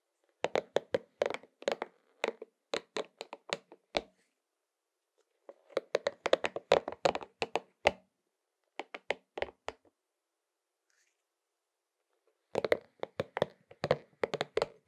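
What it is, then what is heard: Rubber spiky massage ball. A pink and purple soft rubber spiky massage ball, held in one hand, is tapped and patted on its spikes with the fingertips of the other hand. About 43 short, dull taps come in three quick bursts separated by pauses, with a muted mid-range tone centered around 570 Hz. Each tap dies away almost instantly.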